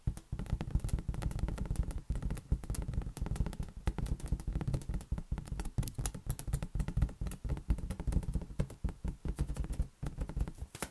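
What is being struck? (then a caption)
Inflated latex balloon. A large, inflated green latex balloon, hollow and air-filled, is held against an open hand and patted rapidly with the fingertips. The steady stream of soft, dull thumps is deep and boomy, and each one dies away almost at once, with brief pauses in the patting.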